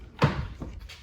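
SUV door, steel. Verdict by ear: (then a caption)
Solid. A door of a 2016 Toyota Land Cruiser SUV is shut, giving a loud, low, solid-sounding thud at about 0.2 seconds that dies away quickly, followed by a softer second knock near 0.6 seconds. The solid sound shows the SUV's build quality.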